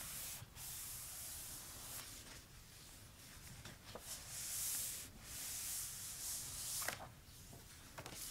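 Fingertips and short nails trace and rub along the handwritten text in an open notebook with a pink hardcover and uncoated paper pages. The result is a quiet, steady, bright, hissy rubbing with soft scratchy swells and a few brief, sharp ticks.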